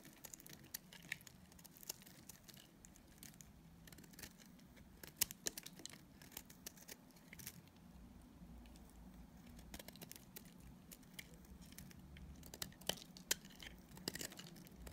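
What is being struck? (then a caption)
Dried soap bar scraped with a knife blade. A utility knife blade shaves and scrapes a solid, dried purple soap bar with red stripes held in a hand. Quiet, dry, crisp scraping and crumbly crackles keep up throughout, with many short, bright clicks and snaps standing out above a low, steady background.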